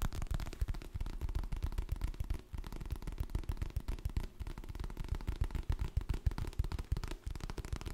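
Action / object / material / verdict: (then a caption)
tap / hardcover paper book / paper / none. Fingertips and nails tap rapidly and unevenly on the glossy printed cover of a solid, medium hardcover paper book, then rub and scratch along its spine and edge. The taps are short, dry, low thuds with almost no ring, mixed with faint scratchy friction.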